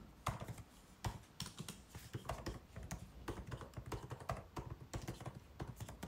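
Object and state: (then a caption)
Plastic laptop keyboard keys. White cotton-gloved fingertips type continuously on the plastic keys of a 16-inch MacBook Pro keyboard set in its aluminum body. The result is a steady, uneven stream of soft, quick clicks and taps with a dull, low thud under each press and almost no ring after.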